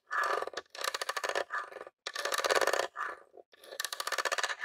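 Fingertips and nails tap and scratch the top of a grey plastic Nintendo mini console, a hollow box. Quick bursts of dry, rattling clicks and scratchy friction come in short runs separated by brief silences. The sound is papery and midrange with a bright hiss, has no low end, and stops dead after each touch.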